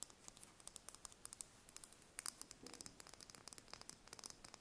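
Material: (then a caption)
Eggshell. Long nails rapidly tap and scratch a small, whole brown chicken eggshell held in the hands, producing about thirty quiet, sharp, bright clicks with almost no ring. A short burst of rougher scratching breaks up the tapping midway.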